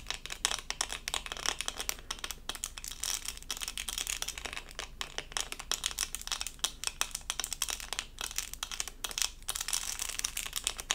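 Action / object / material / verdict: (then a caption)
scrape / resin rhinestone sticker on plastic backing / resin / none. A small, flat, doll-shaped diamond-painting sticker covered in resin rhinestones on a thin, solid plastic backing is held in both hands and scratched with long acrylic nails. The result is a dense, continuous stream of quick, bright, crinkly scratches and tiny clicks, with almost no low end and no ring after each stroke.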